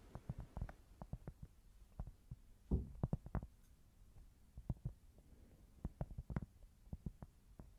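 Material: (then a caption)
Cork. Long nails tap and scratch a thin, solid, flat square cork board, producing a quick series of dull, low, muffled knocks that die away almost instantly. A brief rough scratch stands out near the middle, with little high-frequency content throughout.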